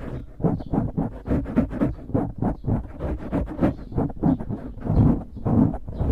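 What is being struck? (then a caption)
Foam microphone windscreen. Fingertips scratch and squeeze a dark grey foam windscreen on a microphone, producing close, muffled rustling and scratching bursts in a quick, uneven rhythm. The sound is heavy in the low end with little brightness, each scrape fading almost at once.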